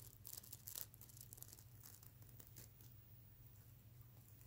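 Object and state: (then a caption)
Plastic sequin pillow being scratched. Fingertips brush and flip the reversible plastic sequins on a soft stuffed plush pillow, making bright, scratchy crinkling and rustling over a steady low hum. The louder, choppier scratching in the first second settles into a softer, continuous rustle for the rest of the clip.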